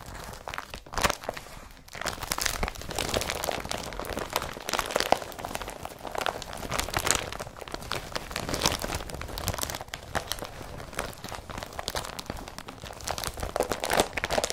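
An empty blue IKEA BRATTBY carrier bag of woven polypropylene is pressed and crumpled in its folds by fingers. The result is a dense, continuous stream of crisp, dry crinkling and crunching with short, bright bursts and almost no ring, sitting mostly in the mids and highs over about 15 seconds.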